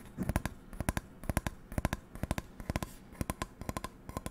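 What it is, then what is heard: Non-stick frying pan. Long nails tap and scratch the textured steel base of an empty, medium metal non-stick frying pan with a black coating, held close to the mic. About 28 sharp, dry clicks land in quick clusters of two to four, each dying out almost instantly with no ring, over a faint scratchy rustle.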